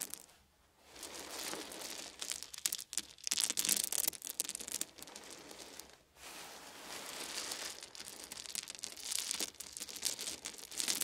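Small round wooden beads are scooped up in cupped hands and poured back onto a fuzzy blanket, rattling and clacking together in dense, bright bursts. After a near-silent start, the crisp clatter swells and fades in waves, drops out briefly around six seconds, then resumes as another steady pour of clicking beads.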